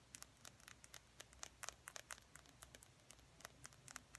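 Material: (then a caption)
Plastic. A small, slim, hollow plastic lip gloss tube with a silver cap is held in both hands and tapped and scratched along its length with fingernails. About 24 quick, dry, bright clicks and scratches come in an irregular patter, with no ringing. They sit over a soft, low background hum.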